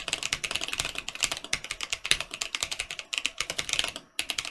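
Fingertips of both hands type quickly on a Mercutio 40% mechanical keyboard with Boba U4T switches and plastic keycaps, with only one hand typing at the end. It makes a fast run of short, bright, clacky keystrokes with almost no low end. There is a brief pause near the end before a final few strokes.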